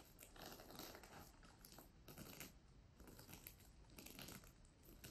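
Long nails scratch and tap across the surface of a flat, soft pink plastic sequin fabric pouch. It makes a quiet run of crisp, crinkly clicks and scratchy rustles with bright sparkle on top, coming in bursts over a few seconds.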